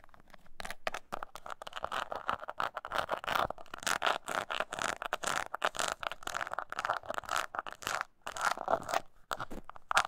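Long nails scratch and tap the side panels of a small, hollow, brown crocodile-embossed leather mini coin purse held in the hands. The result is a dense run of dry, crunchy scraping and scratching, concentrated in the midrange, with a few brief pauses between bursts.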